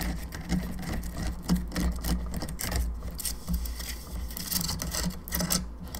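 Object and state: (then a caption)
Plastic skull lamp tapped with nails. Long nails tap rapidly on a hollow plastic skull candelabra lamp, moving across its bone arms, jaw and the sides of the skull. The result is a steady run of quick, light, bright clicks with a hollow plastic ring, heard over a constant low hum.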